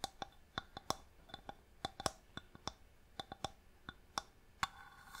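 Long nails tap on a small, hollow wooden box with a marquetry inlay lid held in the hand, giving about nineteen sharp, dry, bright clicks that die away almost instantly, with a woody tone near 770 Hz. Near the end, the nails scratch across the lid in a soft, hissy rasp.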